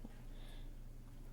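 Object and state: Nothing is struck.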